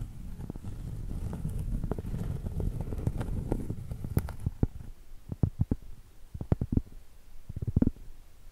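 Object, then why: Round cork board. A round solid cork board, held flat and tilted, has its surface and edge tapped and scratched with long pointed acrylic nails. For the first half there is a steady low, rumbling scratching with soft taps mixed in, then the sound thins to separate dull, deep taps with very short decay. It is muffled throughout, with almost nothing bright.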